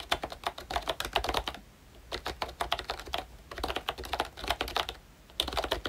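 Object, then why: Plastic membrane keyboard with round keycaps. Fingertips of both hands type on a full-size pink ROYCHE Disney Mickey Mouse retro keyboard, a plastic-cased membrane keyboard with round dark green plastic keycaps. Rapid bursts of soft, bright plastic key taps with very short decay come in four runs separated by brief quiet pauses.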